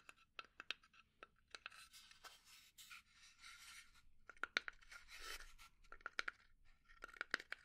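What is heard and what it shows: Long dark nails scratch and tap the engraved lid and sides of a small, hollow, rectangular burnt-finish pine box held in the hands. Sharp, quick clicks with little ring are mixed with longer, hissy scratching passages, all set against a faint low hum.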